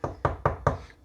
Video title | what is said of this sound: How to Fix a Loose Countertop | that sound that sounds solid so that's going to be the sound we'll be looking for